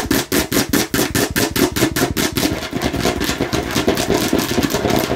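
Long nails tap and scratch rapidly on the red face of a hollow plastic watermelon-slice bottle with a red cap. The result is a fast, uneven run of hollow clicking knocks with a low-mid body, blurring into bright scratchy rasping toward the end.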